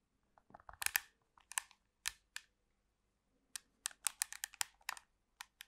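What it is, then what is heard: Plastic TV remote control. Long pink acrylic nails tap and scratch the surface of a black plastic TV remote control with buttons. Quick, dry, bright clicks and scrapes come in two clusters separated by a short quiet gap, each sound dying away almost instantly.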